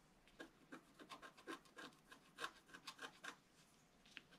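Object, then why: Coated paper scratch-art card scraped with a wooden stylus. A wooden stylus tip scratches around the heart and moon area of a flat, black-coated paper scratch-art card. The result is a quiet, quick series of short, dry scratching strokes with a bright, raspy edge, each stopping almost instantly.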